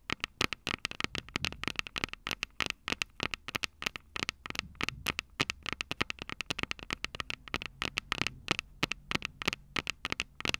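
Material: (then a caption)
Metal, plastic. Long purple nails tap and scratch the two silver metal mic capsules on a plastic-bodied Tascam DR-05 handheld recorder. Dozens of quick, dry, bright clicks and taps come in an uneven stream over a soft scratchy hiss, with little low end and almost no ring after each hit.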